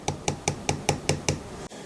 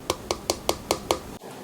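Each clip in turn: First: aluminum headphone frame. Second: plastic headphone frame.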